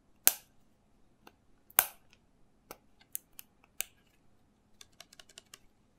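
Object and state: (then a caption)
Small plastic bottle tapped and scratched with fingernails. Fingernails tap and scratch the label and cap of a small hollow green plastic shot bottle with its cap on, held up in both hands. Sharp, bright clicks ring out at an uneven pace, with two louder snaps early on. A quick cluster of lighter taps follows near the end, each dying away almost instantly.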